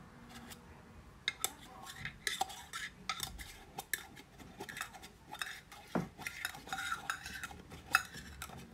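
Long painted nails tap and scratch the lid and sides of a small, closed round metal tin with a green "WATER" label, held in both hands close to the microphone. The result is a run of quick, bright metallic clicks and ticks mixed with short scratchy rasps, each dying away almost at once over a faint low hiss.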